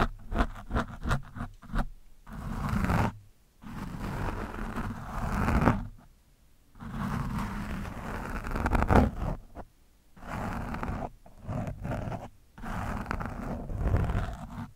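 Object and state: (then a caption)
Foam microphone windscreen being scraped. A metal screwdriver's shaft and tip scrape across an orange foam windscreen on a microphone. Quick scratchy strokes give way to longer rough scraping passes separated by brief pauses. The sound is heavy and muffled, with most of its energy in the low range and almost nothing bright.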